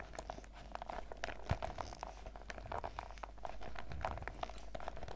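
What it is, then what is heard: Clear PVC zip pouch. A clear, printed PVC zip pouch full of sachets is held in the hands while fingertips and nails squeeze and scratch along its top edge. The result is quiet, dense crinkling and scratching with many short, dry clicks over a low background rumble.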